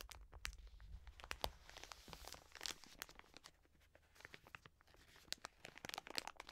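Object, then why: Soft plastic wet wipes packet. A full, soft plastic wet wipes pack is held in both hands while long nails scratch its surface and the hands squeeze and crinkle it. The result is quiet, bright crinkling and scratching made of many quick, sharp ticks over a faint low rumble.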